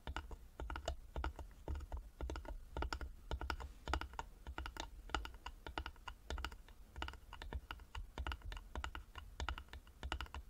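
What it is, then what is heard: Carved wooden box. Fingertips and short nails of both hands tap fast on the front and sides of a small, closed, hollow carved wooden jewelry box with a metal medallion and clasp, lying flat on a table. A dense stream of short, dry, clicky taps comes in uneven bursts, with a soft hollow low thump under each one and very little ring.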